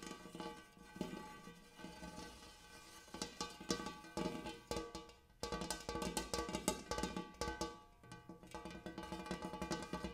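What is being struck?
Large hammered metal bowl.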